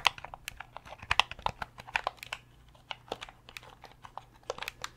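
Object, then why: Hard plastic game controller shell. Fingernails tap and scratch on the hollow hard-plastic shell of a translucent purple Nintendo 64 controller. About twenty short, dry, bright clicks come at an irregular pace, with no ring after each tick. A faint steady low hum runs underneath.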